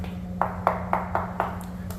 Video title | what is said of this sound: The Hidden Damage That Costs You Thousands | This isn't really cracked, but you can tell how hollow these are.